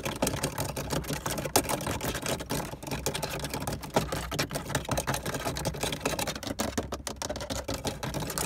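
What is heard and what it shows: Fingertips of both hands tap and scratch fast on a hard black plastic car dashboard, the hollow molded paneling around the air vents and climate knobs. A dense stream of quick, dry clicks and scrapes runs throughout with a low hollow undertone and almost no ring after each hit.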